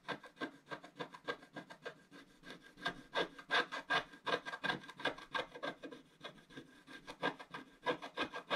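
A wooden stylus scratches rapid strokes across the black coating at the bottom edge of a wax-coated scratch-art paper sheet lying on a table, while one hand holds the sheet steady. Dry, raspy scratches come in an uneven rhythm of nearly three per second, each a short burst with a bright, papery edge and no ring afterward.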